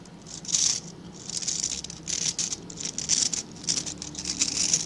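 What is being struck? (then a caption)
Small brush with dense stiff bristles. Fingertips and nails scratch and flick the dense, stiff bristles of a small, dark-grey rectangular brush held in both hands. The result is a bright, dry, crackling patter in uneven bursts that swell and fade, with almost no low end and no ring after each stroke.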